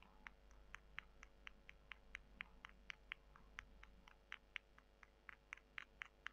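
Long nails scratch two small, dry, porous dried soy chunks, and the chunks are rubbed together. The result is a quick, uneven run of sharp, dry clicks and scratches centred around 2 kHz with bright edges. A faint steady low hum runs underneath throughout.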